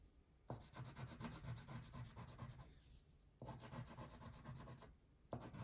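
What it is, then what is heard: Wax crayon coloring on paper. A light blue wax crayon is rubbed in broad strokes across a thin paper coloring page lying flat on a table, filling in the background. The result is a soft, rhythmic, scratchy rasp with low body and faint bright texture, broken into three bursts of strokes by short pauses.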